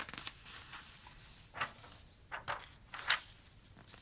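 Fingertips trace and rub across a page of toy trucks in an open glossy paper toy catalog, with some page turning. A soft, steady papery rubbing hiss runs throughout, broken by several louder, bright swishing crinkles as the pages move.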